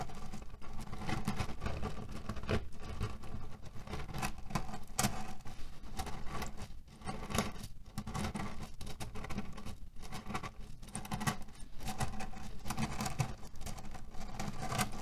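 Fingernails scratch and fingertips press the pits of a cherry pit pillow, a cotton fabric cover filled with cherry stones. A steady, dense patter of muffled rattling and crunching carries on throughout, heavy in the low end, with short scattered clicks and a few brief bright scrapes.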